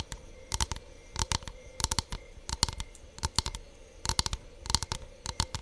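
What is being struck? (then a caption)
Thin bamboo hexagon board. Long nails tap and scratch across a solid, thin hexagonal bamboo board with an engraved honeycomb pattern. Quick clusters of sharp, dry clicks ring bright and die almost instantly, with faint scratchy texture between the bursts.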